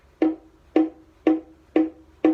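A wooden baritone ukulele back, made of black cherry, beech or white ash, is tapped five times at an even pace in a tap-tone test. Each tap gives a short, hollow, woodblock-like knock with a clear tone near 316 Hz that dies away quickly.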